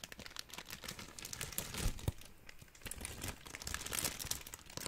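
A large bundled sheet of clear plastic bubble wrap with hollow air bubbles is squeezed and crinkled with both hands. It makes a dense, continuous stream of bright crackling and crinkling with quick, dry snaps, and a couple of heavier low thumps near the middle. The crinkling rises and falls in bursts throughout.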